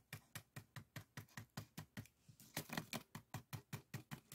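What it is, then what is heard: Woven bamboo rice scoop. A small, hollow, empty cone-shaped rice scoop (bokjori) woven from thin bamboo strips with colored strips is held in one hand while the other hand's fingertips and nails scratch and tap along the weave; a second scoop sits nearby unused. About 22 quick, dry, scratchy strokes are heard at a steady pace of roughly two to three per second. Each has a soft low thump and a bright, crackling rasp that dies away almost instantly.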